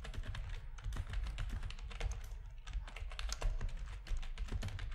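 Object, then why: Plastic computer keyboard. Fingertips of both hands type steadily on a full-size black plastic RGB-backlit computer keyboard with a hollow plastic housing, resting on a desk. The rapid taps blend into a continuous stream of short, bright key clicks over a heavy, low, hollow thudding, with each keystroke dying away almost at once.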